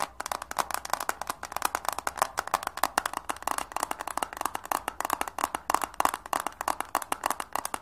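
Long manicured nails rapidly tap and scratch the surface and edges of a flat, rectangular, hand-sized eyeshadow palette in a printed red and pink cardboard case, held up in both hands. Dozens of quick, dry clicks sit in a papery midrange around 1 kHz, with a faint scratchy hiss between them. Each tap dies instantly, with no ring.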